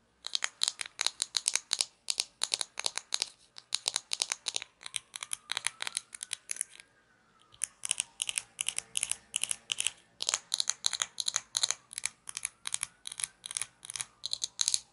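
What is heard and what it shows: A small hollow orange plastic cap from a toy shaker is turned between the fingers while long nails scratch and tap it. Rapid, crisp, high clicks and crinkly scratches come in dense bursts, each dying away almost instantly. The bursts pause briefly near the middle before the tapping resumes.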